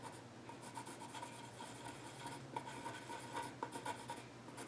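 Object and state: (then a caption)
Pencil scratching on a wooden stool top. A yellow graphite pencil scratches lines across the flat top of a solid, dark-stained wooden child's stool. A soft, steady papery rasp with a faint tone near 945 Hz runs throughout, with a few sharper, louder strokes toward the end.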